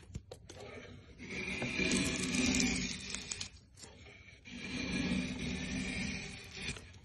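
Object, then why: Softwood board. A curved steel scorp is drawn along the grain of a solid, pale softwood board on a bench, lifting wide curling shavings with a scraping cut. Two long, rasping strokes swell and fade with a gap between them, each carrying a bright, hissy scrape over a low woody rumble.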